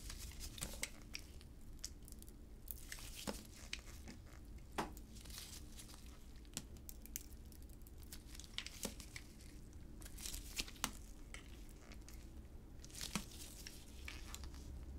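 A solid light green oval bar of soap with a remnant of blue coating, held in black-gloved hands, is shaved with a utility knife blade. Quiet, dry, crackling scrapes and sharp crisp snaps repeat irregularly throughout, bright and short with almost no ring. A steady low hum sits underneath.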